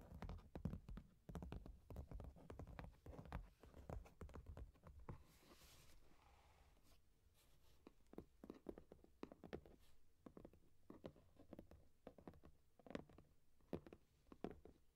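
Long nails tap rapidly on the top of a medium, closed, hollow corrugated cardboard box, then hands hold the box and tap or scratch its front side. The taps are dull, low and hollow with very short decay. A quieter, softer scratching stretch comes in the middle before the tapping picks up again.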